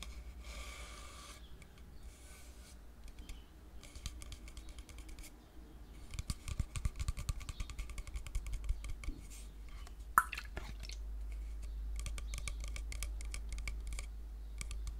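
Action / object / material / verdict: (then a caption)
tap / plastic shampoo bottle / plastic / none. A hollow white plastic "men" shampoo bottle with a black cap is held near the mic and tapped with fingernails. Quick, dry, irregular clicking taps sit over a steady low hum, growing busier after about six seconds, with one sharper, louder tap near ten seconds.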